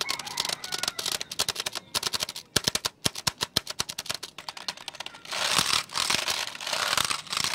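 Fingertips tap and press the keys of a black plastic computer keyboard, held first sideways and then upright, producing dozens of quick, bright, dry plastic clicks with almost no low end. The clicks give way to a denser, continuous bright rustling near the end.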